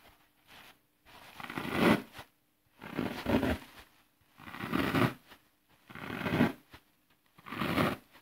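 Fingertips press a series of holes into the face of a flat, solid green floral foam block resting on grass, crushing the brittle foam. Five separate crunching, crackling presses each swell over about a second, with a dry grainy texture and a low-mid body, before dropping back to near silence.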